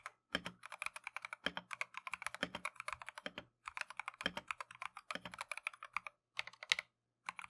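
Continuous typing by gloved fingertips on a plastic Keychron V1 mechanical keyboard with Tangerine switches and green and cream PBT keycaps. Rapid, bright, clacky taps with almost no ring come in quick bursts, with brief pauses between runs.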